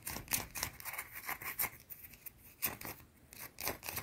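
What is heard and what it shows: A small round solid white bar of soap is held in the hands and scratched quickly with long dark teal painted nails. Quiet, rapid, bright scraping strokes come in uneven bursts, with a few sharper clicks standing out.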